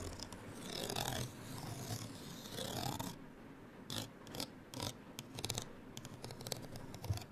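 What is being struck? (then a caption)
Paper card hang tag. Long nails scratch across the surface of a small, flat printed paper card hang tag with a gold string, held in the hand. For about three seconds there are steady, rasping strokes that swell and fade. These give way to a run of short, sharp, bright scratches and taps with quick decay.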